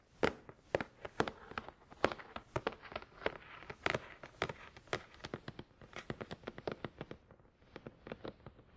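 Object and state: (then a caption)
Cardboard box. Fingertips of both hands tap rapidly on a hollow, glossy black printed cardboard product box for a Tascam DR-100 mkII, resting on a towel. About forty quick, dry, hollow taps sound in irregular bursts, each crisp with a midrange knock and a bright click that dies away almost instantly.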